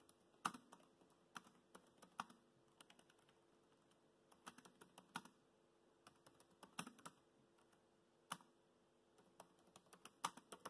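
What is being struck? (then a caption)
Laptop keyboard with plastic keys. Fingertips tap the black plastic keys of a laptop keyboard, producing about 32 quiet, crisp clicks in irregular bursts of typing with short pauses between. Each click is short and dry, fading almost instantly over a faint steady background hum.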